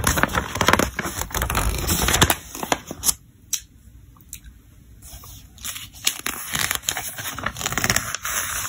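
Fingertips slide across and turn the glossy pages of a thick paper catalog, making crisp, crinkly rustles and brisk page flips with a bright papery edge. The sound quiets to a soft, low hush in the middle before the rustling and turning pick up again.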